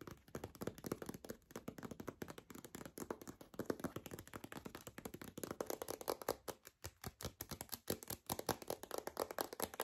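A white paper envelope with a zigzag border is tapped quickly and steadily with long acrylic nails. The result is a dense run of short, dry, papery taps that stay mostly in the midrange, with little low end and almost no ring after each tap.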